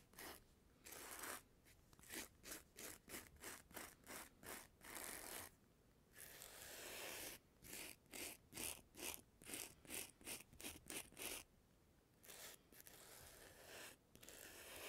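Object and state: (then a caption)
Glossy magazine page brushed. A small black bristle spiral brush is scratched and brushed across an open glossy magazine page. Around 25 quick, bright, papery scratching strokes come in uneven bursts, broken by a few longer continuous rubbing sweeps.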